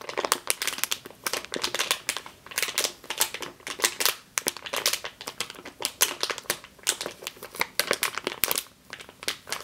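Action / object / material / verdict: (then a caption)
scrape / plastic bag filled with flour / plastic / none. Long green nails squeeze and scratch a medium clear plastic bag with a yellow label, full of flour or grain, resting on a table. The result is a steady run of sharp, bright crinkling bursts with almost no low end, each one dying away almost instantly between quieter rustles.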